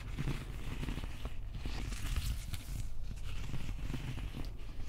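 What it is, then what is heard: Plastic prop axe handle, scratched. Fingertips and nails scratch the wrapped plastic handle of a replica prop axe up close. The result is a steady, dense scratching and rustling texture over a heavy low rumble, with small crackly ticks scattered throughout and no distinct pauses.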